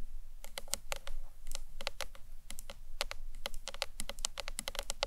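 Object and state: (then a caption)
Hollow acrylic box clutch. Long nails tap rapidly across the front face and ends of a hollow green marbled acrylic box clutch, producing a quick, uneven series of sharp, bright clicks. Each tap is dry and stops almost instantly, over a soft low rumble in the background.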